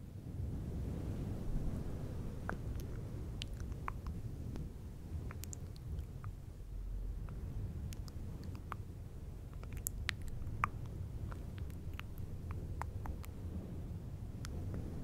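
Fingertips of both hands rub and scratch a soft, fuzzy grey-white synthetic fur windscreen on a silver microphone. The result is a steady, muffled low rumble of rustling fur, with scattered faint, sharp crackles and ticks layered on top.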